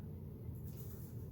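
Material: Nothing is struck.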